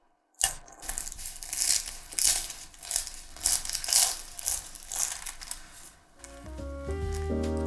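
A freshly baked, still-hot meat and potato pie with a layered dough crust is cut right after baking, giving bright, crunchy crackling and crisp snaps as the crust breaks. Near the end the crunching fades and steady tonal music comes in. The crust is baked crisp and comes out very crispy.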